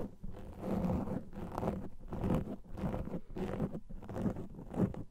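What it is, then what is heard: Foam microphone windscreen being scratched. Fingernails and fingertips scratch a black foam microphone windscreen, making close, muffled rustling scrapes heavy in low rumble. The scratching comes in repeated bursts broken by short quiet gaps, with some faint brighter hiss on the strokes.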